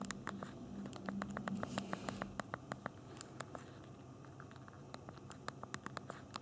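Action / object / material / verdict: tap / handheld phone with small plastic keys / plastic / none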